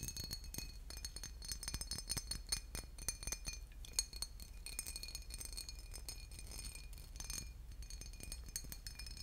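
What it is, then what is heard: Glass bottle with liquid inside. A boot-shaped glass bottle with liquid inside is tapped and scratched, giving quiet, rapid, glassy clinks and bright, short-ringing ticks over a low steady hum. Dozens of small taps run densely throughout, with a few louder clinks standing out.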